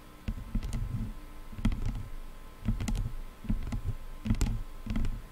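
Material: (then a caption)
Plastic. Long nails tap and scratch the black plastic headband of a pair of over-ear headphones. Dull, bass-heavy knocks come in short bursts, each edged with quick bright clicks and a faint scratchy rasp, over a low steady hum.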